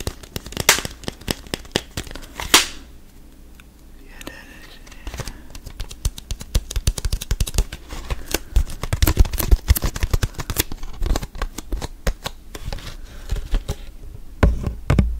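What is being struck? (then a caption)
Thin plastic water bottle. A clear, thin plastic water bottle with a cap and a label, mostly empty, is squeezed and crinkled by fingertips and tapped. This produces dense, sharp crackles and clicks over a low, thumpy body. There is a quieter stretch near the start and busier bursts of crinkling in the middle and at the end.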